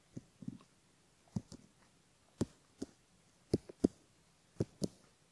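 A bamboo ear pick scratches along the upper fold of a silicone left ear model and around its canal while fingertips hold the ear. About ten short, soft, dry scrapes come at uneven intervals, each with a low body and a faint bright edge. Quiet pauses separate them.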